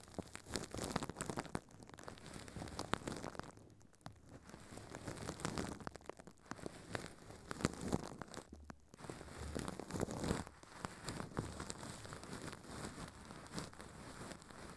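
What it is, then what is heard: Plastic wrap being crinkled. Thin clear plastic film wrapped around a microphone head on a stand is crinkled and rubbed by a hand inside a furry pink puppet. Dense, close crumpling and scratching crackle continuously, with brief quieter gaps near 4 and 9 seconds. The sound is soft and weighted toward the low end.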